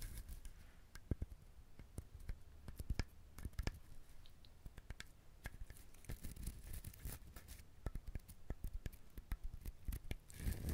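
Fingernails scratch and tap the hard, fibrous shell of a whole brown husked coconut. The result is a quiet, steady stream of short, dry clicks and scrapes with a low thud underneath and no ring after each touch.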